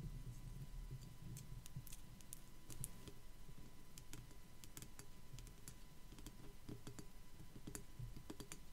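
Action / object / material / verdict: tap / small ceramic skull figurine / ceramic / none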